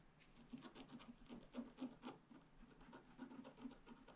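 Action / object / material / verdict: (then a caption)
scrape / coated scratch art paper with wooden stylus / coated paper / none. A wooden stylus held in the fingers scratches away the coating of a flat black-coated scratch art sheet with a metallic layer underneath, lying on a table. It makes a quick run of short, dry, rasping strokes with a low, buzzy tone, some louder than others, with no ring after each.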